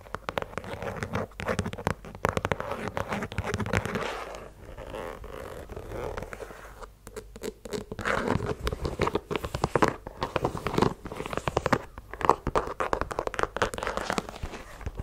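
Long nails scratch the rubber sole tread and the sole edge of a white leather sneaker, giving dense, rapid scratching and scraping with small crackly ticks. The sound is mostly in the low-mid range with little high content, and there is a brief quieter, softer rubbing passage in the middle.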